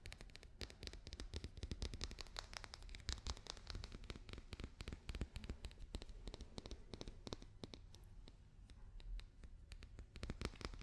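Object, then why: Papier-mache daruma doll. Fingers and nails tap and scratch quickly on a papier-mâché daruma doll, making dense, short, dry clicks that overlap into a continuous crackle. The taps are too close together to count and fade almost instantly, over a low, quiet rumble.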